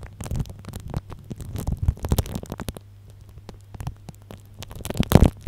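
A small blue-and-white plastic tube tip taps and rubs on clear plastic cling film wrapped tightly over an upright microphone. The result is dense, irregular crackling with soft thuds and a low hum underneath, going quieter in the middle before a louder burst near the end.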